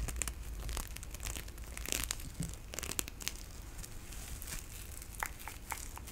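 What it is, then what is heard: Nylon mesh loofah. A pink nylon mesh bath loofah with a white cord, soft and hollow, is held in both hands and scratched and rubbed with long nails. The result is a steady, dense crinkling and rustling texture with sharp, bright scratchy ticks scattered throughout over a quiet low rumble.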